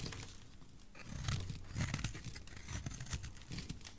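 A metal blade scrapes across a solid oval bright green bar of dry soap. It gives a steady, low-heavy crunching and tearing sound with bright crackling flecks, swelling in short waves as the blade carves off shavings.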